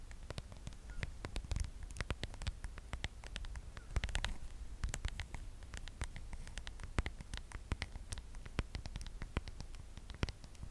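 Long acrylic nails rapidly tap and scratch across the back of a smartphone held sideways in both hands, inside a pale patterned plastic case. Dense, sharp clicks with very short decay ring out bright over a soft, steady low hum, with brief scratchy swishes in between.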